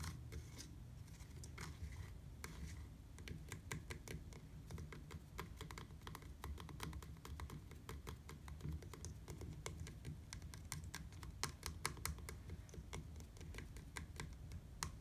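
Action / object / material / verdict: tap / hard plastic platform bicycle pedal / plastic / none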